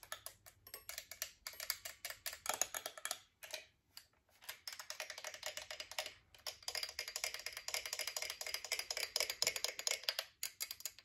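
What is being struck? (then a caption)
Chrome-plated metal twin-bell alarm clock. A chrome-plated metal twin-bell alarm clock with a hollow casing is tapped rapidly with long acrylic nails. The sound is a fast run of bright, dry, high-pitched clicks with almost no ring, broken by a few short pauses.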